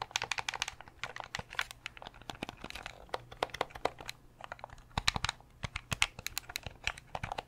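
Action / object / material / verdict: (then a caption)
tap / hard plastic game controller / plastic / none. Fingernails tap and press the buttons of a translucent purple Nintendo 64 controller, a hollow hard-plastic controller with a cable. The result is a rapid, uneven stream of dry, bright plastic clicks and taps that die away almost instantly. A faint steady low hum sits underneath.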